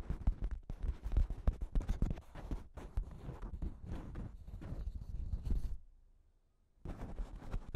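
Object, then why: Thin plastic shower cap stretched over a microphone. Long pink nails scratch and crinkle a thin pink plastic shower cap with a cat print stretched over a microphone. A dense run of close, low-heavy crackles and rubs continues for almost six seconds, then falls to near silence for about a second before the crinkling resumes.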